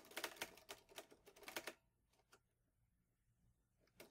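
Fingertips type on the keys of a green metal portable manual typewriter, an Olivetti Lettera 22. A quick burst of sharp, bright clacks fills the first 1.7 seconds, followed by a quieter stretch with a single strike near 2.3 seconds and another at the very end, about 11 hits in all. Each clack is dry and short with almost no ring.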